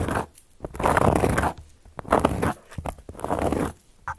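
Long gold metal claw nail caps scratch and trace across a round, flat, solid cork board. The sound comes as repeated bursts of dry, gritty scraping spread from low to high, with short scratchy strokes and light clicks in the quieter gaps between the longer passes.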